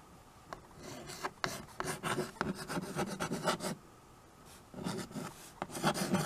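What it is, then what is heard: Chalk writing on a small chalkboard. A white chalk stick writes and scratches across a small tabletop chalkboard with a dark painted board in a wood-look frame, held by fingers. Quick, uneven rasping strokes come in a long burst, a short quiet pause, then another burst of scratchy strokes with bright, gritty texture.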